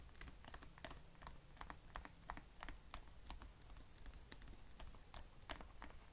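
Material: Plastic.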